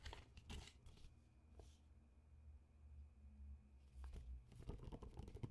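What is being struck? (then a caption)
Glossy paper magazine cover. Fingertips tap and crinkle the glossy cover of an old TIME magazine with a "Siberia" cover and worn edges, held in both hands. Soft, dull paper taps and crinkly rustles come in scattered bursts, busier at the start and end and quieter in the middle, with a faint steady high tone underneath.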